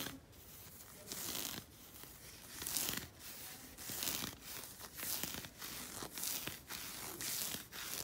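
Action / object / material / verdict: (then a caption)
scrape / knit fabric sock / knit fabric / none. Painted fingernails and fingertips scratch the surface of a black knit fabric sock worn on the leg. Quiet, dry, bright scratching comes in irregular bursts of rasping, tearing-like texture with very little low end.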